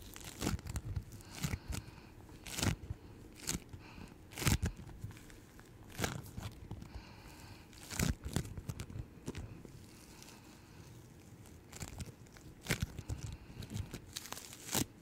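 A flattened piece of yellow-green floam bead slime is pressed and kneaded by fingers with long nails close to the mic. Irregular bursts of sticky crunching and crackling pop out over a low rumble, with sharp bright snaps standing out among the quieter squishing.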